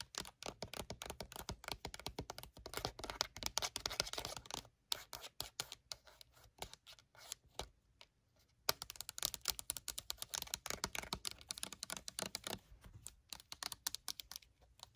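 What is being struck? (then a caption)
Plastic lotion bottle. Long nails tap rapidly on the flat face of a pink rectangular Victoria's Secret fragrance lotion bottle, a hollow plastic bottle with a black pump that is likely full. The taps are quick, crisp and bright clicks with almost no ring, coming in dense bursts with brief pauses near 5 and 8 seconds.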